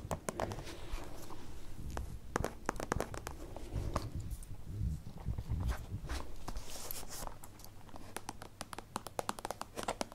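Long nails tap quickly on a holographic plastic zippered pencil case, held in the hands and then laid flat. The sound is a steady run of many short, dry, crisp clicks over a soft, low background rumble, with occasional light crinkles of the plastic.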